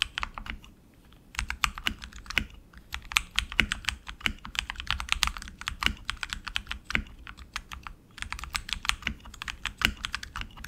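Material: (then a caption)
Plastic. Both hands type continuously with their fingertips on an RGB-lit tenkeyless mechanical keyboard with plastic keycaps on lubed tactile switches in an aluminum frame, resting on a desk mat. Rapid, bright, short clacks and taps with a faint low thud run in uneven bursts, with brief pauses near the start and around eight seconds.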